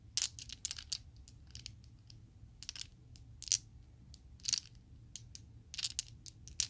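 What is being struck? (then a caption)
Small acrylic plastic dice. A set of small, solid purple acrylic Chessex polyhedral dice is shaken and clacked together by hand in an open palm. Sharp, bright plastic clicks come in quick bursts and scattered single taps, each dying away almost at once over a faint low hum.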